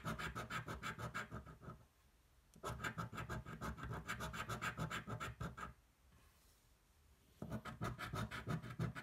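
The edge of a metal coin scrapes the latex coating off a single thin paper scratch-off lottery ticket held flat on a table. Rapid, rhythmic rasping strokes come in three bursts separated by short quiet pauses, with a low body and a bright, gritty top.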